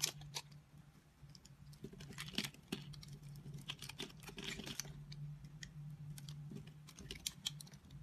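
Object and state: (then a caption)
Dry bar soap cut into cubes. A utility knife blade cuts cubes off a solid, dry, speckled multicolor soap bar that has been grid-scored. Crisp, bright clicks and short scraping crackles come in quick bursts over a steady low hum.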